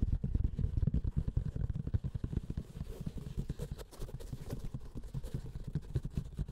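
Fingertips and short nails scratch and tap a closed, hollow, keyboard-sized grey woven-fabric hard-shell keyboard carrying case with a "Spark" label, lying flat on a felt mat. The result is a rapid, irregular stream of dull, low, hollow thumps mixed with soft scratching. Almost no bright or high content comes through.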